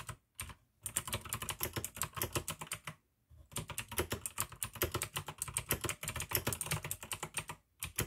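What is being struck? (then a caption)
Plastic mechanical keyboard. Fingertips type fast on a full-size pink plastic AUKEY mechanical gaming keyboard with RGB backlight, clicky blue switches and a hollow case. Bursts of sharp, bright clicks ride over a low hollow thock near 113 Hz, with brief pauses between runs.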